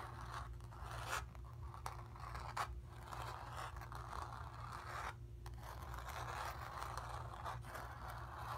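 Long nails scratch around a painted sphere on a painted cotton canvas. A steady, dry scraping rasp centered in the midrange continues throughout, with a few brighter strokes standing out. A constant low hum sits underneath.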